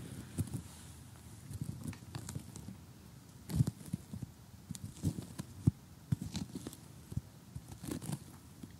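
A large, flat, glossy cardboard jigsaw puzzle on a table is tapped with fingernails, then tapped and rubbed over the pieces by hand. Soft, dull low taps and faint crinkly scraping follow one another in an uneven sequence, with a few sharper knocks standing out.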